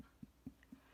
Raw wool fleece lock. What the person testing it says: you can hear that it's got a really lovely, hollow, strong sound